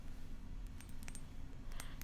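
A small glass bird figurine is tapped, giving light, bright clinking ticks. The taps are quiet and short, over a steady low background hum.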